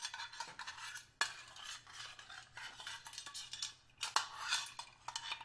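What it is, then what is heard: Stainless steel hip flask. The tip of a small screwdriver taps and scrapes along the edge and face of a small, hollow stainless steel hip flask held in the hand. It makes a quiet, steady stream of bright, gritty metallic scratching and clicking with a thin ring around 1.1 kHz. Two sharper, louder taps ring out at about 1.2 and 4.2 seconds.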